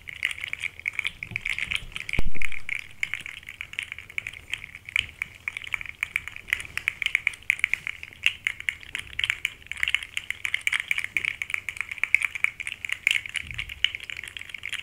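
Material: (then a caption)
Plastic. A small, rainbow-colored, segmented plastic articulated slug toy with hollow segments is held by the fingertips and shaken, so the segments rattle and click. The result is a steady stream of rapid, dry, bright clicks centered around 2 kHz, with one brief, louder bump just after two seconds.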